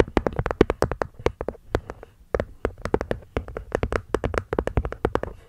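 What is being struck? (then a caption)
Small wooden box with cork lid. A small hollow hexagonal wooden box with a cork lid is tapped quickly by long fingernails on the cork top and the wooden edge. The result is a rapid, uneven run of short, dry, hollow taps with a mid-low body, bright clicky attacks and almost no ring.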